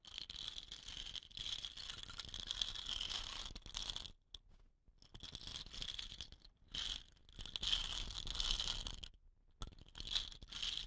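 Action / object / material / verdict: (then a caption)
scrape / painted wooden rain stick / wood / none. Long nails tap and scratch the painted body of a hollow, dot-painted wooden rain stick with a rattan-wrapped end, possibly rattling its filling. The sound is a dense, bright, crackly rattle centered around 3.5 kHz, with little low end. It comes in bursts broken by several brief near-silent pauses.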